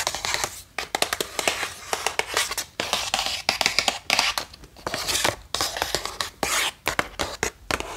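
Long painted nails tap rapidly across the face and edges of a closed, seemingly full, flat printed cardboard box holding 36 watercolor brush pens. The taps are crisp, bright and dry, mixed with light scratchy scrapes, and die away almost instantly with no low thud.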